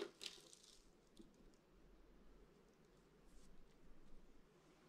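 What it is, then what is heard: Dry soap curls crushed by hand. A hand with purple painted nails grabs a fistful of small, dry, brittle green and white soap curls and flakes from a pile on a table and crushes them in the palm. A sharp, bright crunch at the start gives way to a quiet, steady crackling and rustling over a low rumble, with a few louder crunches later on.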